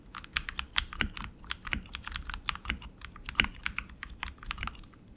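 Both hands type continuously with their fingertips on a tenkeyless RGB mechanical keyboard with tactile switches, plastic keycaps and an aluminum frame. The result is a fast, steady stream of sharp, bright clicks and clacks with a few louder, deeper key strikes mixed in, each dying away almost instantly.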